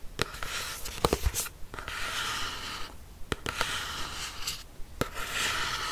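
Long nails scratch the textured cover of a black hardcover notebook with a yellow logo, held upright. Rough, bright rasping strokes swell and fade, broken by brief quiet gaps and punctuated by sharp little clicks where the nails catch the cover.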